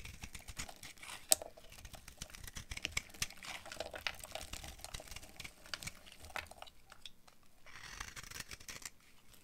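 A hand-sized, solid green bar of dry soap with a dark coated rim is held in one hand while a utility knife blade cuts and scrapes brittle flakes from it. The result is a quiet, dense stream of crisp, bright crackling and scratchy ticks, with one sharp, louder snap early on. The texture thins and softens briefly toward the end.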